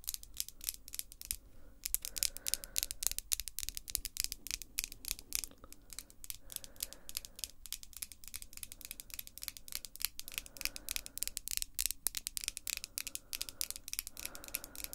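Long pink acrylic false nails on both hands tap their tips against each other in quick, irregular bursts. The result is a dense stream of sharp, dry, bright clicks with almost no ring, over a faint low rumble.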